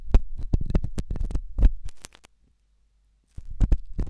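A thin hooked stainless steel probe scratches inside the ear canal of a white silicone ear-shaped microphone. The scratching comes through as rapid, deep, muffled thumps and rumbles, almost all low-frequency. It runs for about two seconds, falls silent for about a second, then resumes briefly.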